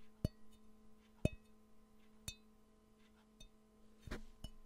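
A hollow, empty, yellow glazed ceramic Pikachu-shaped mug with ears is held in the hands near the mic and tapped with the fingernails six times at uneven intervals. Each sharp click gives a brief ringing tone over a quiet, steady tonal hum, with a scraping handling noise near the end.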